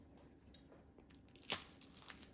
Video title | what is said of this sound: CROUSTILLANT AU POISSON | vous entendez, ça croustille bien